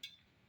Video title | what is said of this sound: DEMO KOMPOR DAN REGULATOR VAGANZA | kok pas dibenturkan bunyinya seperti ini. Nah, tak ya sama-sama Bu, hampir sama suaranya, cuma tak beda. Itu berarti dari besi.